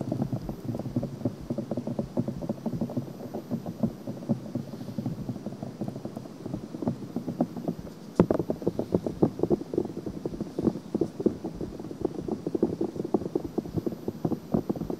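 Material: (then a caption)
Silicone. Long nails on both hands scratch a white silicone ear on a binaural microphone. The result is a dense, continuous stream of quick, muffled rasping strokes, mostly low and mid in tone, with a sharper, louder scrape just after the midpoint.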